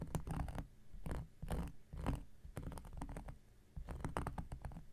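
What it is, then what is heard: Cork coaster scratched. An X-Acto knife blade scratches across a round, flat, solid cork coaster. Repeated short scratching strokes come in bursts with brief pauses between them, giving a low, rough, rumbling scrape with fast-fading crackles.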